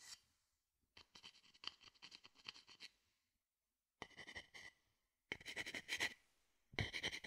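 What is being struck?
Small empty wooden bowl.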